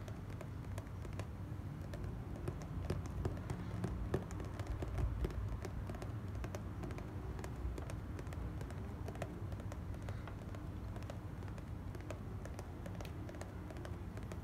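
Long black nails tap rapidly and steadily on the lid of a small, closed, hollow white cardboard gift box. The result is a dense stream of quick, dry clicks over a low, hollow thump, with each tap dying away almost instantly.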